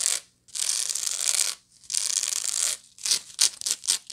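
Long nails scratch the flat woven side of a medium, hollow woven straw bag with small wooden toggles. A short bright rasp leads into two long, sustained scratching strokes, followed by a quick run of shorter, choppier scratches. The sound is dry, hissy and almost entirely high-pitched, with no low end.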